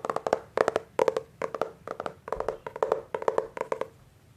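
A solid Hardy Boys hardcover book with a glossy laminated paperboard cover is gripped and tapped on the front cover with the fingertips. Quick bursts of dry, hollow, mid-toned taps come in small clusters, each tap dying out almost instantly.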